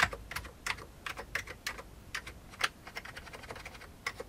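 Fingertips of one hand tap the keys of a full-size old beige plastic computer keyboard with a hollow plastic case. About twenty-two short, clicky keystrokes come in an uneven run, each a bright, dry tick that dies away almost at once.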